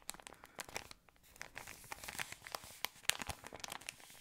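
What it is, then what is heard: Plastic ice cream wrapper crinkled. An empty, thin, yellow patterned plastic ice cream wrapper is crinkled with the fingertips. It makes a quiet, continuous stream of sharp, bright crackles and crisp snaps, with a few louder pops. There is almost no low end, and each crackle dies away instantly.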